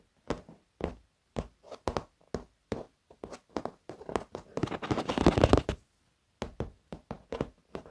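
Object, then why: Padded leather chair. Fingertips and short nails tap on the edge of a black padded leather office chair, then knuckles knock close to the camera. Short, dull, muffled taps die away almost instantly and come in an irregular rhythm. Midway they swell into a louder, denser flurry of rapid tapping, then stop briefly before sparser taps resume.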